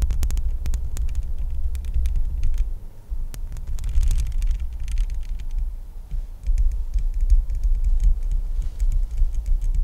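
Long nails rapidly tap the bare, hollow metal mesh grille of a microphone. Each tap lands as a deep, booming thump over a steady low rumble, with bright, dry clicks scattered on top. The tapping eases briefly near the three-second mark, then resumes in quick, irregular bursts.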